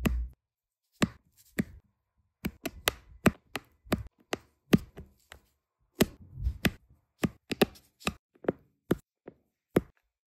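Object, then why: Small resin drills on an adhesive canvas. A metal-tipped applicator pen taps small solid resin diamond painting drills down onto an adhesive canvas in sequence. The result is a quick, irregular run of short, dry clicks with almost no ring. Each click has a soft low thump and a bright crisp edge.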